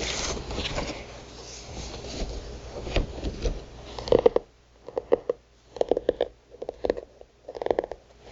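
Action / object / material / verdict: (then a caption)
tap / thick notebook with paper or card cover / paper / none. Long nails scratch and tap a thick notebook with a printed paper or card cover showing a goddess illustration, working over the cover and the page edges. About four seconds of steady, hissy scratching give way to short, dry, clicky taps in quick clusters, separated by near silence, with a papery tone around 500 Hz.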